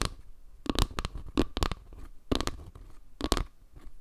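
A round wooden log-slice panel, made of wood slices, is held edge-on above the mic while long nails scratch and tap its underside and edge. Short, dry, crackly taps burst out in quick clusters over a soft low rumble of scraping, each dying away almost at once.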